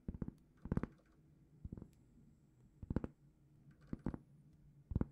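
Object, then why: Round cork trivet. A large, flat, solid round cork trivet held in both hands is scratched with long painted fingernails. Six short bursts of quick, dry scratching patter come through quietly, with a dull, low-heavy tone and no ringing.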